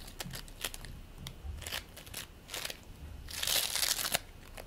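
Fingers pinch, pull and squeeze a green bead play foam ball made of polystyrene beads, rolling it into a ball. Irregular bright crackles and crunchy crushing bursts are heard, swelling into a denser, louder crackling stretch near the end.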